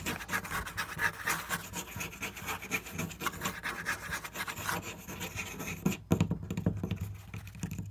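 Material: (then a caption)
Wood. Fingernails scratch and tap a flat, solid wooden board covered in marker drawings. Dense, fast, uneven scratching with a bright, broadband rasp fills the first five seconds. After a brief gap near six seconds, it gives way to softer, lower tapping with a dull body around 200 Hz.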